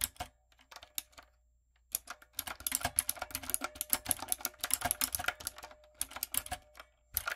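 A backlit, typewriter-style mechanical keyboard with round brown plastic keycaps on a dark frame is typed on rapidly with fingertips and long coffin nails. The result is bright, sharp clicking key taps in quick bursts with very short decay. Each burst is separated by brief pauses.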